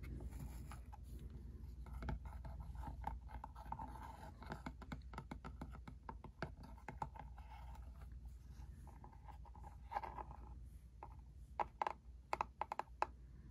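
Fingertips tap on the top and front of a small, hollow, cube-shaped printer ink cartridge box made of thin cardboard, resting on a carpeted surface. Quick, dry taps and light scratchy brushing sound over a low steady hum, with a hollow papery tone around 850 Hz. Sharper, more separated taps stand out near the end.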